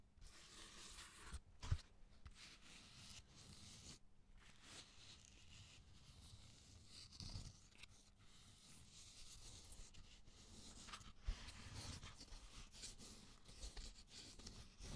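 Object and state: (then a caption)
Cork bark slab. A long piece of raw cork oak bark is held vertically and then tilted while fingernails scratch and tap its rough surface. Quiet, dry rasping scratches run throughout with a bright, papery edge, broken by a few sharper taps. A faint steady low hum sits underneath.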